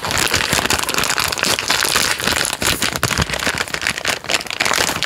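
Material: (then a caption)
Plastic film. Fingers crinkle and squeeze the end of a full, plastic-film-wrapped Jammie Dodgers Unicorn biscuit packet. The result is a dense, continuous crackling and rustling that is bright and papery, with little low end and steady loudness across the clip.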